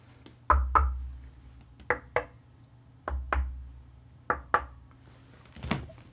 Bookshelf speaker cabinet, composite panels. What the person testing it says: the face plate is more dead and the sides are also more dead than the top but very small differences overall very minimal resonance